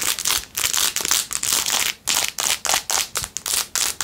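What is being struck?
Plastic phone case covered in rhinestones.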